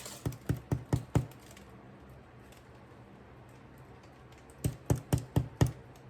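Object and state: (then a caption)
Hollow-sounding bread loaf, baked through. A rustic no-knead bread loaf is turned over on its parchment paper and tapped on the bottom, giving ten short, low, dull taps in two runs of five separated by a pause. The hollow sound means the loaf is baked all the way through and ready to cool.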